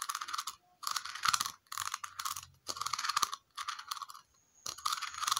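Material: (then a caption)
Plastic. Long nails tap and scratch a small hollow red plastic cylindrical container with a ridged concentric base. Six short bursts of rapid, crisp clicking and scraping are separated by brief silences, with a bright, hollow plastic tone centered near 1.3 kHz and very little low end.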